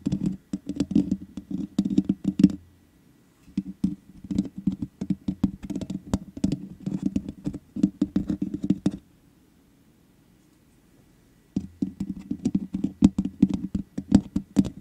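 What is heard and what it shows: Long nails tap the top and sides of the black metal mesh grille on the hollow head of a large USB condenser microphone. Rapid, dry clicking bursts with a low hollow thump are heard, separated by quiet pauses around 3 and 10 seconds.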